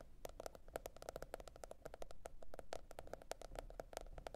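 Long red nails tap and scratch a teal printed cardboard hardcover notebook. A quick, uneven run of short, dry clicks has a hollow mid-range knock and bright edges over a faint low hum, each tap dying away almost instantly.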